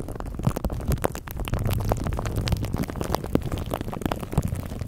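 Fingertips scratch and rub clear plastic cling wrap stretched over a microphone head while hands cup the mic. The result is a dense, continuous crinkling and rustling with a heavy, muffled low-end rumble and quick crackly ticks throughout.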